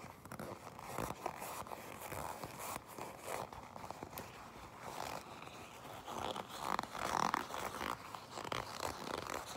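Long pink nails tap and scratch a black leather jacket, then grip it, giving a steady stream of soft, dry crinkling and scraping with light taps scattered through. The creaking grows louder and brighter toward the end as the leather is squeezed.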